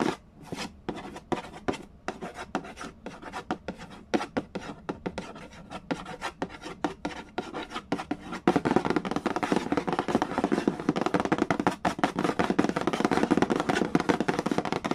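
Fingertips tap quickly on the printed cardboard lid of a large, flat, hollow Mastermind board game box, making light, dry, irregular taps that stop almost at once. About halfway through, the sound turns louder and denser as the fingertips rub and scratch across the lid in a continuous papery rasp.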